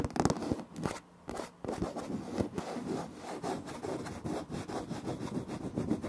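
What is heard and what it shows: Fingertips and short nails of both hands rub and scratch a large, flat, solid floor of light wood-grain laminate planks. The result is a dense run of soft, dry scraping and rubbing strokes with mostly low-mid body and little brightness, briefly easing into a quieter pause early on before the scratching resumes steadily.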